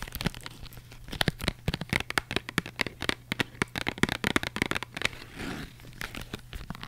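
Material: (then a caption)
Cardboard. Long white acrylic nails rapidly tap and scratch the flat faces of a small, closed, printed cardboard box of Polaroid instant film that likely holds film packs, held upright in both hands close to the microphone. Crisp, dry clicks come in quick irregular bursts, with brief scratchy rasps between them.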